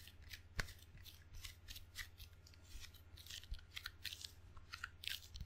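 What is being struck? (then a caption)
Table tennis paddle, rubber faces on a wooden blade. Fingertips and a palm tap and peel across the sticky red and black rubber faces of a table tennis paddle with a solid wooden blade, and touch its wooden edge. Quick, dry ticks and soft sticky peels with bright, crisp tops come in an irregular run, with a few sharper taps standing out. A steady low hum runs underneath.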